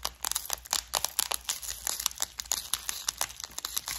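Long orange nails tap and scratch the lid of a flower-shaped clear plastic bead organizer full of gold studs. Rapid, dense, bright clicking and scratching runs through the whole clip in many short, dry bursts with almost no low end.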